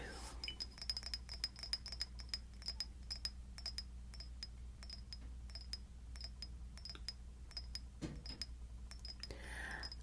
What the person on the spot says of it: I actually prefer glass tapping with natural nails. I find it to be less abrasive and more forgiving.